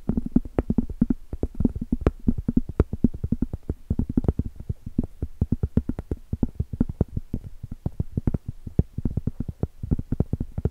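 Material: Cork.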